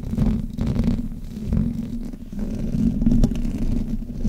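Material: Metal mesh.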